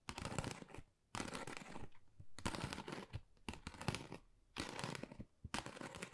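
Fingernails rapidly tap and scratch across a flat pink textured cardboard Dior gift envelope in bursts, producing a dense, crisp crackle with quick clicking strikes. The bursts are broadband and bright, separated by short quiet gaps.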